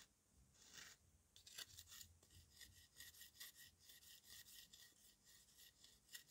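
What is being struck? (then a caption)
Dried clay mud cake scraped by steel knife. A steel knife scrapes the powdery, dry clay surface of a solid dried red mud cake shaped like a dome, held in the hand at times. The clip is a quiet run of short, bright, raspy scraping strokes with a faint, steady high tone underneath and almost no low end.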